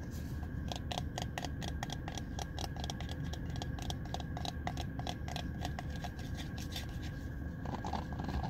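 Fingertips with dark-painted nails tap rapidly on the smooth, hollow-looking plastic back of a small handheld hairbrush shaped like a dog face, its bristles facing away. The result is a steady stream of short, crisp clicks over a constant low rumble.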